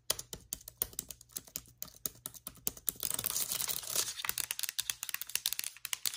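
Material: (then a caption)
Plastic. Long pointed nails tap the black plastic keys of a MacBook Air keyboard and the area near the trackpad of its aluminum body, giving quick, bright, clicky taps with almost no ring. From about 3 to 4.5 seconds the tapping runs together into a dense, scratchy clatter before returning to separate clicks.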